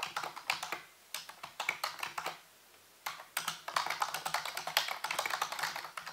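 Fingertips and nails type and tap on the keys of a full-size black plastic computer keyboard with a hollow housing. Quick, bright, clacky keystrokes come in bursts, with a brief pause partway through before the typing picks up again.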